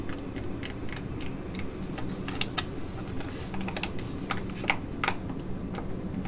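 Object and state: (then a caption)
Foil laminate sheet-mask pouch. An ID.AZ Derm flat metallic foil laminate mask pouch, filled with a soft mask and held in hands, is tapped and scratched with long nails. Sharp, bright, dry clicks and crinkly ticks come at an irregular pace over a steady low rumble, each dying away almost instantly.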